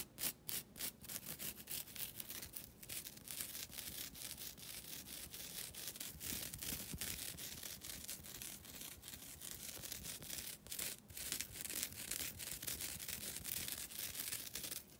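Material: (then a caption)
Nylon. A flat, thin, solid green nylon scouring pad is scratched with long pointed nails in close-up, giving a steady dry, bright rasping scrape. Rapid strokes repeat throughout, with a few sharper louder scratches near the start and around the middle.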